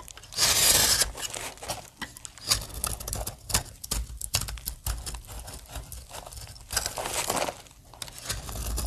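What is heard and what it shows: A utility knife blade shaves curls from and scores grooves into the edge of a solid green dry soap bar held in the hand. Dry, crisp scraping and crunching strokes with a bright, papery crackle come in quick, uneven bursts, with louder passes near the start, middle and end.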